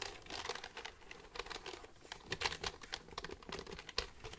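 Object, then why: Plastic computer keyboard. Fingertips type on the keys of a black plastic computer keyboard held upright. Quick, dry, bright clicks and taps clatter in an uneven stream, with a few sharper keystrokes standing out. Each click is brief and dies away almost at once.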